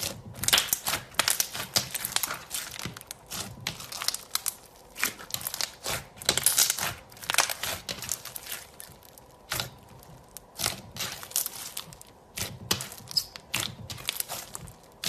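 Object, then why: Slime with foam beads. Fingertips and long nails repeatedly poke, press and pinch a solid mound of green fluffy slime dotted with yellow foam beads on a white table. Dense bursts of bright crinkling and crackling pops rise and fall in quick clusters, with brief quiet gaps between squeezes.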